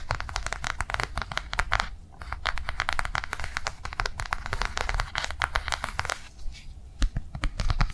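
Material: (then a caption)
Soft plastic. Long nails tap and scratch quickly across a flat, blue, rectangular soft-plastic cardholder lying on a table. The result is a dense stream of short, dry, clicky taps mixed with crinkly scratching, with bright attacks over a low background rumble. Each tap dies away almost instantly.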